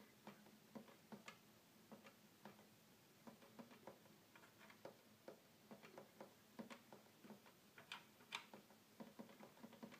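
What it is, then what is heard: Plastic toy keyboard, button clicks. Fingertips tap and click the small buttons and keys of a small red plastic toy electronic keyboard with a hollow body, which does not seem to play music. About fifteen quiet, short, sharp plastic clicks come at an uneven pace, each dying away almost instantly, with a bright edge and a faint steady low hum underneath.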